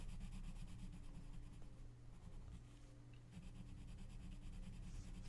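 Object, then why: Colored pencil on a paper coloring book page. A gloved hand shades the page of an open paper coloring book lying flat with an orange colored pencil, rubbing in strokes. Soft, scratchy rubbing repeats at a quick, uneven pace over a steady low hum, easing slightly quieter midway before picking back up.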